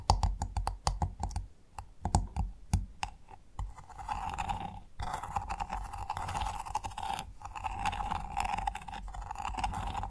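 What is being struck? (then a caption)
Freshwater mussel shell. Long nails tap and scratch the hard, ridged shell of a large, closed freshwater mussel lying flat. Quick, dull clicking taps come first, then give way to a steady, rasping scratch with a nasal midrange tone that pauses briefly twice before continuing to the end.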